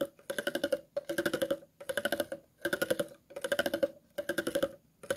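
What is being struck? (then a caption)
Empty plastic water bottle. A thin metal tool scrapes across the ridges of an empty, hollow, clear plastic water bottle in repeated strokes. Each stroke is a quick run of dry, clicking ticks with a hollow mid-pitched ring and bright edges. Short pauses separate the strokes.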